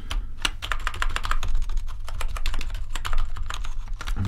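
Fingertips tap rapidly across the keys of a full-size gaming keyboard with a grey metal top plate and black plastic keycaps. The result is a quick, steady stream of short, bright plastic clacks that die away almost at once, over a constant low hum.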